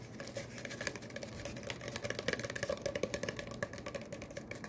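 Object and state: Cardboard tube, hollow.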